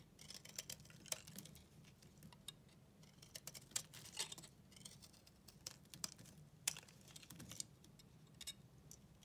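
A solid white bar of soap, held in the hand, has its surface scraped with a flat utility knife blade. The result is a quiet run of dry, crunchy scratches and sharp bright crackles over a faint low hum, with a few louder snaps standing out.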